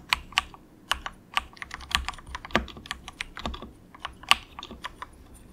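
Fingertips of both hands type softly in quick taps on a cheap, compact mechanical keyboard with grey and orange plastic keycaps and a hollow plastic case. About nineteen short, bright, clacky key strikes are heard, each ending almost at once, with little low end.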